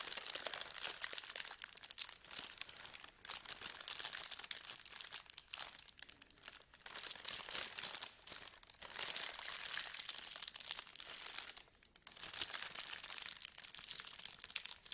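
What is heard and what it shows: A clear, thin plastic bag lying flat on a table is pressed, smoothed and crinkled with the palms and fingers. It makes dense, bright crinkling and crackling that comes in steady bursts, with brief quiet dips between handlings.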